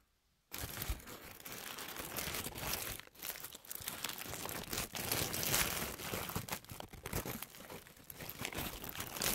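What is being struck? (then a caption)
Thin paper tissue sheet. A thin white paper tissue sheet held in both hands is crinkled and scratched with long manicured nails and fingertips. After a short silence, a dense, continuous stream of bright crackling and rustling runs to the end, with brief dips and sharper crunchy bursts along the way.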